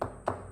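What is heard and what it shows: Two dull taps on a gloss-finished laminated hardwood panel with attractive grain, tested as a possible cajon face, each giving a short midrange thud that dies away almost at once. The panel is tonally dead, sounds horrible and would kill the drum, so it is rejected.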